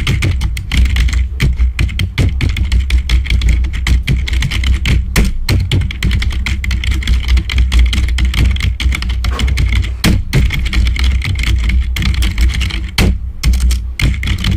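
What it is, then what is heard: Plastic membrane computer keyboard. Fingertips type rapidly on the keys of a black plastic membrane computer keyboard, making a dense, continuous stream of soft tapping clicks with short, dry decays. A steady deep low hum sits beneath the keystrokes, carrying most of the sound's weight, while the clicks add a thin, bright edge on top.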